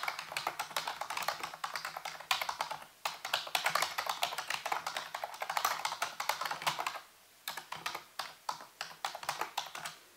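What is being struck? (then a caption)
Plastic computer keyboard. Fingertips and nails type and tap on the keys of a full-size black plastic computer keyboard with a hollow housing. Quick, bright clicks run in dense bursts, with short pauses near 3 seconds and around 7 seconds, and each click dies away almost at once.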